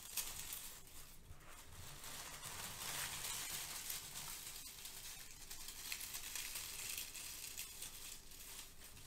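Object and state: Crinkled kraft paper shred.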